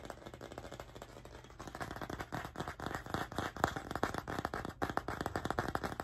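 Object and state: Wooden coaster.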